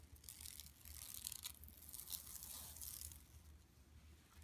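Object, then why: Woven plastic mesh bag. Long nails scratch across an empty, flat yellow woven plastic mesh tote bag lying on carpet. The result is a steady, dense, bright rasping and crinkling texture with quick ticks and no ring, over a faint low hum.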